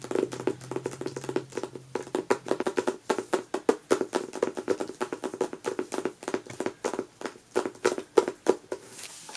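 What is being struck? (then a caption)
Hardcover book with paper dust jacket. Long natural nails and fingertips tap and scratch the front cover of a closed, solid hardcover book, "Apple of My Eye," with a matte paper dust jacket, lying flat on a fabric couch. A steady, quick run of dry, papery taps comes through, each dying away almost at once, with a woody midrange tone and soft scratchy rustle between them.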